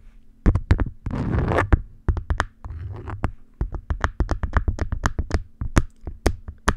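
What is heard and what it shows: Long nail tips scratch and tap the waxy surface of an orange beeswax-coated cotton food wrap stretched over the mic. Around thirty sharp, dry taps and crinkly scratching bursts land close to the mic with a heavy low thump, and each one dies away almost at once.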